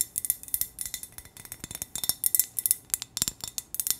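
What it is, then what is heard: Glass lantern tapped with fingernails. Long acrylic nails tap and scratch a medium-sized hollow green glass hurricane lantern with a wire handle and a yellow pillar candle inside, held in the hands. A rapid, uneven run of sharp, bright clicks and clinks is heard, each dying away almost instantly, with very little low end.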